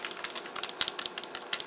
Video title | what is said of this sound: NEW- Kat Von D True Portrait-Wear test+HONEST Review | It has a little ball in there.